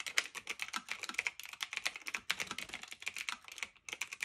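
Both hands type continuously with fingertips and medium nails, pressing and tapping the round plastic keycaps of a medium-sized, hollow-bodied black retro typewriter-style mechanical keyboard with metal-look trim and a silver return lever, resting on a fluffy blanket. About 29 quick, bright, crisp plastic clacks come in an uneven rapid stream, with a brief pause near the end. Each click is dry and dies almost instantly, with no low-end thump.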